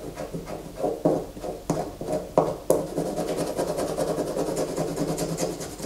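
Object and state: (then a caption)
Bar of soap scraped with fingernails. Fingernails scrape shavings off a solid white bar of soap held in the hands. The result is a steady, dry rasping texture in the low-mid range, punctuated by a few sharper, brighter scratches that stand out from the continuous scraping.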